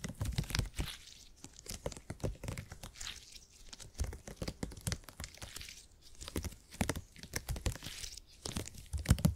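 A purple gel grid cushion made of hyper-elastic polymer is stretched and squeezed by both hands. It gives a steady run of soft, low squishy crackles and creaks with bright crinkly edges. The sound swells and fades in waves as the grid is worked.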